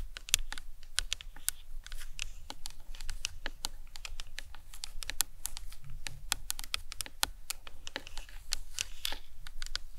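Long nails tap and scratch rapidly across the top of the cranium of a life-size, hollow plastic anatomical skull model. The result is a quick, steady stream of short, dry, bright clicks with no ring, over a low, constant rumble.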